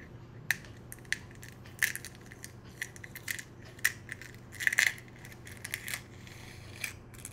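An empty, hollow brown hen's eggshell is held in both hands over a small cup while long nails and fingertips crack and crush the thin shell into pieces. The result is a rapid, irregular series of short, bright, dry crackles and snaps that decay quickly, with energy concentrated high around 2 kHz, over a faint, steady low hum.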